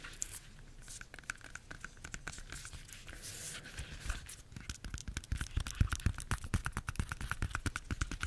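Long nails scratch and tap the peel of a bunch of ripe bananas. Soft, dry scratching fills the first half, then gives way to quick, uneven taps that grow louder, each a short dull thud with a faint bright click.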